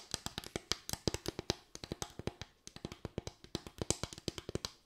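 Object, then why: Bamboo slatted board. A solid bamboo slatted board, a flat wooden board with raised parallel slats, is tapped and scratched with long white nails. It gives a quick, irregular run of 32 short, dry taps, each a bright click with a low woody knock underneath that dies away almost at once.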